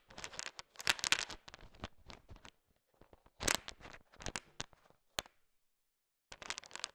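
A heap of small, hard, sugar-shelled candy-coated peanut M&Ms is stirred with a thin wooden stick, so the candies shift and click against each other. Dense, bright clicking and rattling comes in irregular bursts, with short pauses and a near-silent gap before a final flurry. The sound is crisp and dry with almost no low end.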